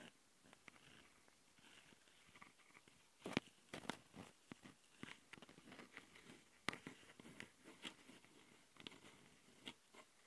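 Long nails of both hands scratch the two microphone capsules of a small Tascam handheld recorder, which have metal mesh grilles on a plastic body. Quiet, irregular scratching rasps and sharp clicks sound bright and close, with brief louder bursts. Each stroke stops dead with no ring.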